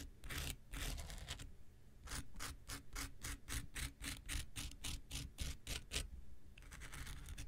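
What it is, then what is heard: Foam nail buffer block. A metal X-Acto knife blade is scratched and scraped along the abrasive surface of a palm-sized, pink, rectangular solid-foam nail buffer block held in one hand. Dense, bright rasping strokes open the clip, then after a brief lull come a quick series of short, dry scratches, and it ends in a softer continuous scrape.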